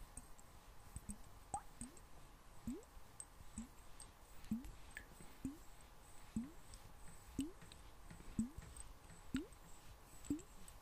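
A small clear glass bottle, partly filled with water, is tilted and tapped with fingernails as the water moves inside. Soft, short taps come about once a second, each with a brief hollow tone that glides upward around 200–300 Hz, over a quiet background with faint clicks.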